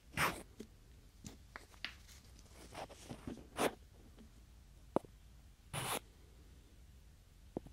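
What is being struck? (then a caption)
Pair of small wooden blocks. Two small solid wooden cubes are rubbed and slid together by fingertips beside a binaural microphone. Soft, breathy scraping swishes that reach up into the highs alternate with brief dry wooden clicks and taps at irregular intervals over a quiet background, the longest slides coming near the start, middle and just before six seconds.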